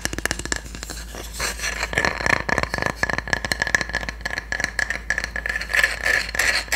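A solid, flat wooden cooking spatula has its handle and blade tapped and scratched with long nails. Quick, uneven taps mix with dry scratching, each hit short and bright with almost no ring.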